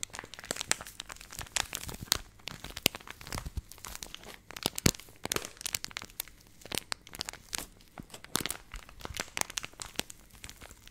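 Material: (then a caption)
Plastic. Long nails crinkle and scratch the handled top corner of a purple laminated plastic milk powder pouch. Dense, crisp crackles and scratchy rustles burst out irregularly, bright and sharp with very little low end. Each crackle stops almost instantly, leaving no ring.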